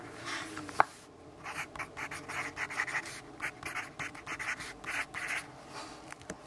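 A graphite pencil writes and scratches on a lined paper notebook page resting on a wooden desk, while a hand briefly rests on and rubs the page. Quiet, dry scratching strokes come in short bursts of bright, papery rasp, with one sharp tick near the start.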